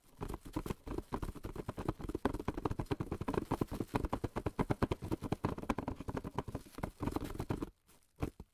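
Fingertips wrapped in plastic film tap rapidly and steadily on a long, narrow, hollow printed cardboard box of cling film lying on a table. The taps are soft, dull, hollow thuds with a low body and almost no bright crinkle, each dying away almost instantly. The patter runs continuously for most of the clip, then drops to a couple of faint taps near the end.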